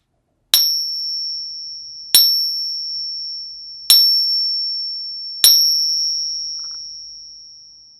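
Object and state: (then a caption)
Fake copper Peace dollar. A known fake copper Peace dollar weighing 21.9 g is pinged four times, and each strike gives a sharp attack and a high, steady ring that fades slowly. Its ring scores 0 of 3, marking the coin as bad.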